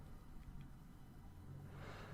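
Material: Nothing is struck.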